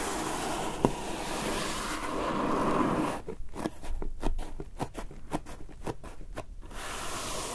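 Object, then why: Closed printed cardboard box. Long dark-painted nails and fingertips scratch and then tap the lid of a closed, medium-sized, hollow printed cardboard subscription box (Lookfantastic The Box) resting on a fluffy surface. A few seconds of soft, steady scratching give way to 11 quick, dull, hollow taps that die away almost at once.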